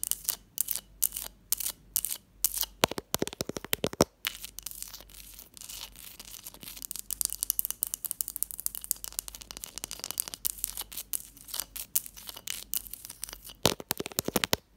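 A block of ice, alongside a textured glass dish, is tapped and scratched at close range. Rapid bright crunching and scraping are broken by clusters of sharp, dry taps that stop almost instantly, with little low end underneath.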